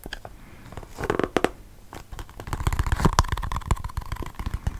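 A small, hollow, red patterned cardboard gift box with a purple lid is held in the hands close to the microphone while fingertips and nails tap and scratch the box and lid. The result is soft, irregular bursts of dull, low thumps and dry scratching that grow busier in the second half, over a faint steady tone.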